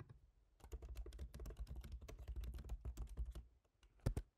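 Both hands type rapid fingertip taps on a MacBook Pro keyboard with black plastic keycaps set in a silver aluminum body. A quick, steady run of soft, low, thuddy key clicks lasts about three seconds, then after a short pause one louder single tap lands near the end.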